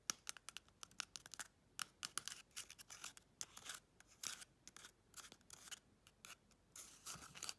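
Long red chrome nails rapidly tap and scratch a small, hollow, empty brown cardboard toilet paper tube held in the hand. Around thirty quick, dry, bright clicks and scrapes come in fast bursts, almost all high-pitched with very little low end and no ring. The sound stays quiet throughout.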